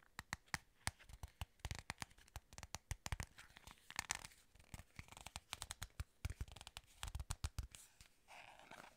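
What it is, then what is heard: Cardboard box. A small, hollow, plain white paperboard box is held in the hands while fingertips and long nails grip, scratch and tap its flat sides. Many quick, dry taps with no ring fall in an uneven rhythm, mixed with scratchy, papery rasps. The clip ends with a short, softer stretch of steady scratching.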